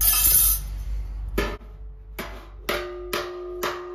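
A flat metal slapper tool repeatedly strikes the dented area of a large, thin, hollow sheet-steel car wing panel clamped in a vise, possibly with a dolly held behind the panel. It makes a series of sharp metallic slaps, each leaving a short ringing tone as the dent is worked.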